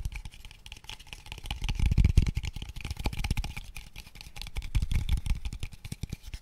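A small, light, hollow square wooden tube box of pale wood, empty, is tapped rapidly with fingertips and nails. The result is a fast, dense run of short, dry, low hollow thuds mixed with light clicking from the nails, swelling louder around the middle and again near the end.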